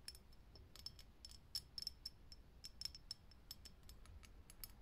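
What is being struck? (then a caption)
Glass filament light bulb. Long nails tap quickly on a lit, hollow, clear glass vintage filament light bulb, making a rapid series of sharp, bright clicks with a high glassy ping. Each tap stops almost instantly, over a quiet low rumble.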